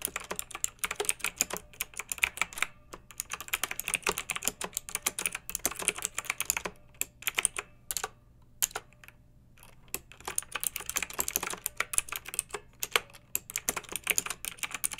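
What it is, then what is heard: Plastic mechanical keyboard. Long-nailed fingertips type continuously on a pink backlit plastic mechanical keyboard with round keycaps. Rapid, bright plastic clacks with very short decay run in dense bursts, with brief pauses near 3 seconds and between about 8 and 10 seconds, over a faint steady low hum.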